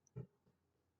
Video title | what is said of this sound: Heroes Feast: How to Make Elven Bread 🧝‍♂️🍞 | make a hollow sound when you tap on them